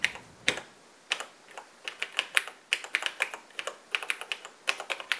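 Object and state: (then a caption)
Plastic laptop keyboard. Fingertips of both hands type continuously on the black plastic keys of a vintage cream-colored Radio Shack portable computer (TRS-80 Model 100 style) with an LCD screen, resting on a workbench. A rapid, uneven stream of sharp, bright plastic clicks and taps is heard, each dying away almost instantly, with almost no low end.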